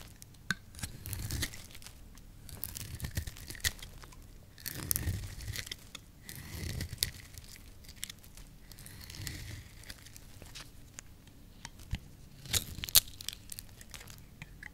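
A small blade scrapes and shaves a solid, hand-sized soap bar with a green coating over a red layer, peeling it into curls. Dry, crackly scraping strokes come in repeated bursts, with a bright, crinkling rasp over soft low thuds. Sharp little clicks punctuate the shaving throughout.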